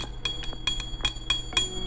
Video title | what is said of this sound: OPSI REEL MURAH LAGI UNTUK YG MAU NYOBA MANCING ! BATTLE X SILENCE REVIEW SPINNING REEL (PANCINGAN) | kalau gua ketok langsung bunyinya berbeda dengan yang plastik